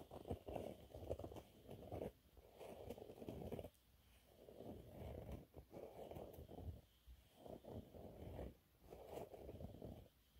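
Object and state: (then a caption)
Cellulose sponge cloth scratched. Fingernails scratch a thin, flat, yellow textured cellulose sponge cloth, making dry, soft rasping in short bursts with brief quiet gaps between them. The scratching is muffled and low-mid in tone, centered around 500 Hz with little high-end brightness.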